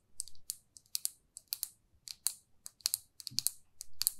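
Long nails tap and scratch a small, glossy red lacquered lipstick tube. The result is a quick, uneven run of sharp, bright clicks with no ring, over a faint low rumble.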